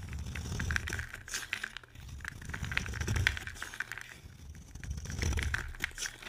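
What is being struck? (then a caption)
Bar of soap scraped with a knife blade. A utility knife scrapes and carves shavings from a solid oval bar of dry pink soap held in the hand. Dry, crackly rasps and short crisp scratches come in uneven, overlapping bursts over a low, rough rumble, with a steady band of grainy upper-mid texture.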